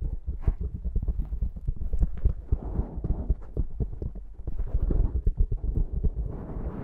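Long nails of both hands scratch and tap the top of a black foam windscreen on a Zoom microphone. The result is a steady stream of rapid, muffled thumps and soft scratching rustle, heavy and deep with almost all the energy in the low end and a faint low hum underneath.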